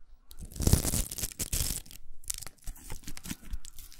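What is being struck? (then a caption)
Plastic velcro hair roller. A large, empty, hollow pink plastic hair roller with a velcro hook surface is scratched and tapped with long acrylic nails. Rough, crunchy, tearing scrapes with bright, high hiss alternate with quick dry taps, each dying away almost at once.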